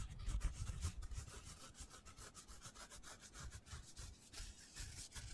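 Fingertips rub and scratch the porous surface of a hand-sized black foam cylinder. The result is a quiet run of soft, dry scratching strokes, about three per second and uneven, with bright airy hiss over a low, muffled rumble.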